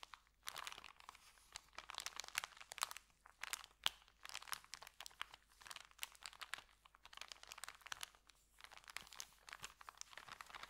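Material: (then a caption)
Paper. Fingertips press and rub a folded, empty white paper sandwich bag with green print lying on a carpet. The result is dense, bright crinkling and crunching in quick irregular bursts with very little low end, each crackle dying away almost instantly. This continues steadily at a soft level for about eleven seconds.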